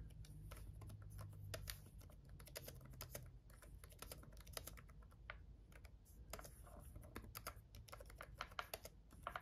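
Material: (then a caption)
Plastic. Fingertips of both hands type on a black laptop keyboard with red backlit plastic keys. It makes a steady run of quick, light, bright clicks and taps over a low, constant hum, with each keystroke dying away almost instantly.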